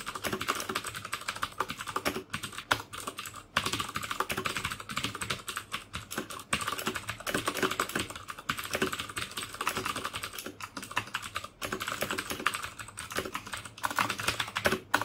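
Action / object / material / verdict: tap / plastic mechanical keyboard / plastic / none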